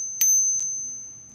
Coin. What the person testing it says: just like a little whiny feminine mosquito